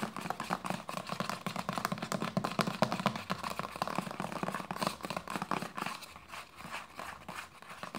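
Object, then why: Plastic lotion bottle. A hollow white plastic lotion bottle with a red cap is tapped and scratched with long nails. A steady run of fast, dense tapping clicks mixes with scratchy rustling, quieting slightly toward the end.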